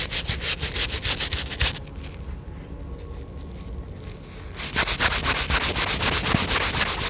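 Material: Rubber.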